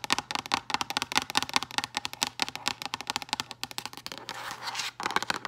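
Long green acrylic nails tap rapidly on a hollow, rigid, frosted translucent plastic storage box, producing about 32 sharp, bright clicks with almost no ring. Near the end, the taps give way to a brief continuous rasping stretch before a few final taps.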